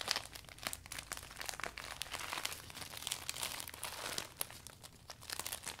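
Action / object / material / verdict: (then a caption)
scrape / furled clear vinyl umbrella / vinyl / none. Fingertips roll and press the thin furled vinyl of a closed, new clear vinyl umbrella, crinkling it. A dense, continuous stream of bright, dry crackles and crinkles is heard, with almost no low end and no ring after each snap.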